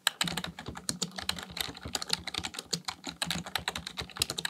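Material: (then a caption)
Plastic. Fingertips type rapidly on a black plastic full-size computer keyboard resting on a desk. A fast, uneven stream of short, bright plastic clicks and taps follows, each dying away almost instantly, with a soft low thud under some keystrokes.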